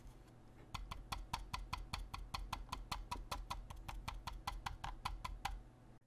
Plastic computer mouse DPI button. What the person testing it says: when I tap on the mouse the DPI button rattles